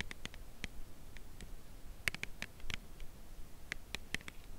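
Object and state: Full cardboard chocolate box.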